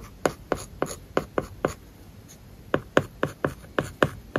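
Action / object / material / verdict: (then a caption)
scrape / plastic stylus on tablet glass with matte plastic film / plastic film / none. A plastic stylus writes large characters on an iPad's solid glass screen covered with a matte, paper-like plastic film. Thirteen short, dry scratching strokes are heard, a run of six, a pause, then seven more. Each stroke has a mid-pitched, papery scrape with almost no ring.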